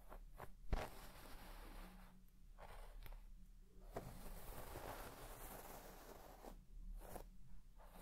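A white plastic comb is swept in fast strokes across the deep pile of a large red shaggy textile carpet, scratching and brushing the fibres. The result is a steady, soft rustling scrape with a low rumble underneath and a brief sharp tick near the start.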